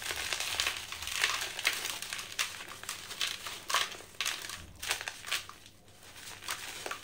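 A hand holds a dry yellow sand-cement chunk and crushes it with the fingers, letting powder stream down into a blue bucket. Dry, bright crackling and crunching come in irregular bursts, with almost no low end and quick, short decays.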